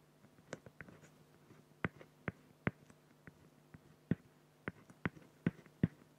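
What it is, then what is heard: Felt-tip pen strokes on an acrylic sheet. A felt-tip pen makes rapid, short hatching strokes on a flat, clear acrylic plexiglass sheet, producing about a dozen quick scratchy taps at an uneven pace. Each stroke is a brief, dry click with a low, dull body and almost no ring, heard quietly against near silence.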